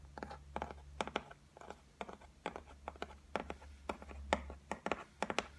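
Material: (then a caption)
Laminate. Long white nails tap and scratch on a flat, solid white laminated shelf top, making a quick, irregular run of short, dry clicks with a muted midrange tone and almost no ring. Faint scratching fills the gaps over a steady low hum.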